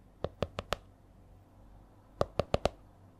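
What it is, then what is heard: Hardcover spiral notebook. Long nails tap the stiff cover of a purple A4-size spiral notebook, likely laminated cardboard or plastic, held upright. Eight short, dry taps with a hollow mid-pitched knock around 590 Hz fall in two groups of four, separated by a pause of just over a second. Each tap dies away almost at once.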